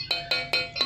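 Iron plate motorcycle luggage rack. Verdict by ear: Solid.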